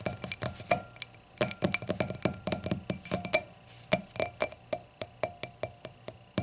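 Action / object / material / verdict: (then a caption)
tap / glass hurricane glass / glass / none. Long nails tap and scratch the solid glass foot and stem joint of an empty clear hurricane glass lying on its side. A quick, uneven run of short, bright clinks with a tone near 700 Hz dies away almost at once, with faint scraping between taps.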